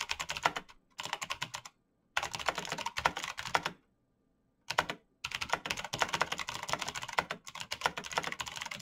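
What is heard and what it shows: Bare fingertips type fast on a black plastic mechanical keyboard with clicky switches, giving rapid, bright, crisp clicks with almost no ring. The typing comes in bursts separated by short silent pauses.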